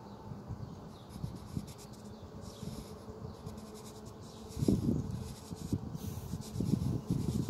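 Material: Paper.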